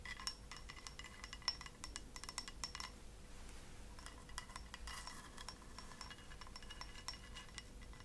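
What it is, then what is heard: Ceramic cup tapped with fingernails. A small white ceramic cup, held upside down and hollow and empty, is tapped with long acrylic fingernails. The result is a quick, irregular run of light, clicky taps with short, bright, high clinks that die away almost at once, over a quiet, steady low hum.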